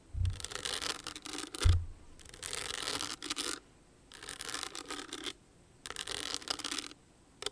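Long nails scratch and tap across the jeweled surface of a small, hollow, owl-shaped rhinestone clutch purse held in both hands. Four bright, gritty scratching passages are separated by short silences, and a couple of dull low taps thump through the first one.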